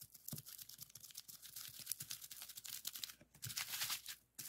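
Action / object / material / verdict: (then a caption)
tap / plastic bubble wrap sheet / plastic / none. A flat sheet of clear plastic bubble wrap with hollow bubbles lies on a desk and is rapidly pressed and popped with fingertips. The result is a quiet, dense stream of sharp, bright pops and crinkles that overlap in quick succession, with a short lull near the end before a final snap.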